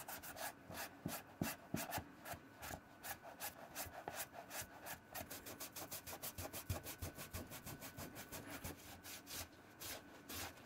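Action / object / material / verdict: scrape / leather shoe rubbed with a microfiber cloth / leather / none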